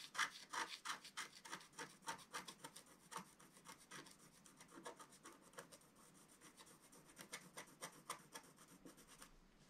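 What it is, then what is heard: Scratch-art paper being scratched. A wooden stylus scratches across a flat, black-coated scratch-art paper sheet, working on the owl's body. Quick, dry, bright scraping strokes come about three per second at an uneven pace, loud at first and then lighter and softer.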